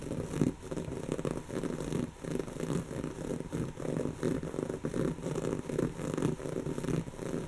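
Long natural fingernails on both hands scratch a soft, stuffed, brown textured woven-fabric cushion. The result is a steady run of rhythmic, rasping strokes, full in the lows and low-mids with little high end. The strokes rise and fall in quick pulses without pause.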